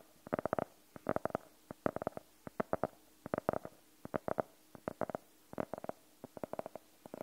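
Fingernails tap and scratch on the cover of a closed, solid navy faux-leather hardcover notebook. Quick, dry, mid-pitched taps come in rapid clusters of three to six, each dying away instantly with no ring. A faint, steady background hiss fills the short gaps between bursts.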